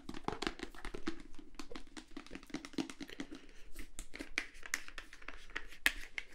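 Fingernails tap quickly and unevenly on a small translucent blue plastic Sally Hansen cuticle remover bottle with a white cap, partly filled with liquid and held in the fingers. Each tap is a short, dry plastic click with a dull low-mid body, and sharper bright ticks stand out near the end.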